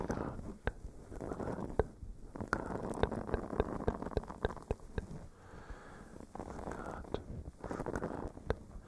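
A small blue silicone face scrubber sponge, flexible and solid, is scratched with fingernails while pressed against a furry mic cover. The result is a muffled, low rumbling scratch broken by many sharp clicks, with the texture swelling and fading in bursts.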